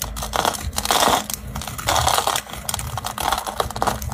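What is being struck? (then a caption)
Bar of soap scraped by a small blade. A small blade scrapes and carves a solid, round orange bar of dry soap held in a hand over a tiled surface, flaking off shavings. The sound is a dense, crunchy, crinkling scrape that swells into louder, bright bursts as the blade bites in, then eases between strokes.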